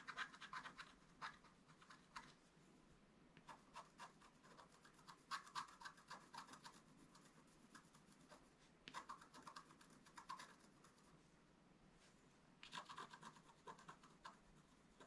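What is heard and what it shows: A flat, wax-coated scratch-art paper card on a table is scratched in its upper right area with a thin wooden stylus held in the fingers. Quiet, dry, bright scratching comes in bursts of quick rasping strokes, with short pauses between the clusters.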